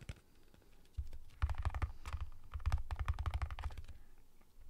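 Fingertips and nails tap quickly on the side and lid of a sealed cardboard Pringles tube held in the hand. A faint tap or two gives way, after about a second, to dense bursts of short, clicky taps over a deep, hollow low thump. The taps end with almost no ring.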